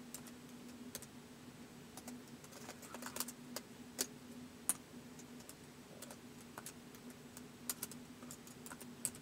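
Fingertips tap the keys of a white polycarbonate laptop keyboard in slow typing, producing quiet, short, bright plastic clicks at an irregular pace. A faint steady low hum runs underneath throughout.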